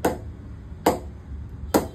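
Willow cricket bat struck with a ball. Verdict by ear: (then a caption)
Good. An old ball is tapped three times on a willow cricket bat with about nine straight grains in a ping test. Each tap gives a short, bright knock centred around 300 Hz that dies away quickly. The bat pings well and is judged a perfect bat for hitting.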